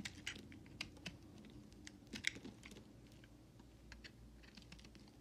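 A utility knife blade scrapes and carves thin shavings from the edges of a solid white bar soap held in hand. Quiet, dry, bright ticks and crisp scraping clicks come in an irregular series, loudest near the start and middle, over a low steady hum.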